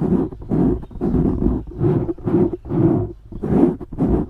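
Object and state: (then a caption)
Foam microphone windscreen being scratched. Fingernails scratch quickly across the top of a black foam windscreen on a microphone, making a series of rough, scratchy bursts. The bursts are dense in the low and low-mid range, around 200–400 Hz, and come in roughly eight swells, each separated by a brief dip in loudness.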